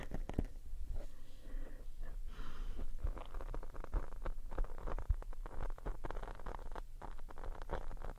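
Long painted nails scratch along the black foam windscreen of a RØDE shotgun microphone with both hands. The result is a dense, continuous, deep rumbling scratch with a steady low hum underneath and almost no high end.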